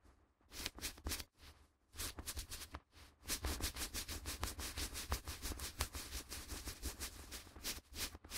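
A flat white sheet of A4 printer paper, held by both gloved hands above the recorder, is bent, flexed and rubbed between the fingers. It makes bright, crinkling rustles and crackles, starting in short bursts with brief pauses. From about three seconds it becomes a steady, dense run of scratchy crackling with a low rumble underneath.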